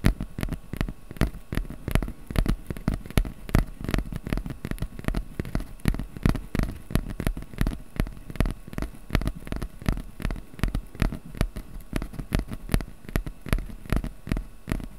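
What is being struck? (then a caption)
Corrugated cardboard piece. Fingertips tap and scratch the surface of a small, flat piece of brown corrugated cardboard held in both hands above a microphone. The result is a steady run of quick, dull, irregular taps with brief scratchy patter, each dying away almost at once. It sits over a constant low hum.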